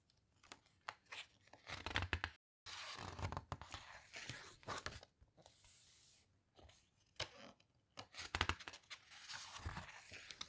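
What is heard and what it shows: A hand lies flat on the glossy photo page of an open hardcover book, squeezing and rubbing it with the fingertips, then turns the page with long nails. Quiet, papery crinkles and scratchy rustles come in uneven bursts with bright, hissy edges, broken by a brief silence and a smoother sustained swish near the middle.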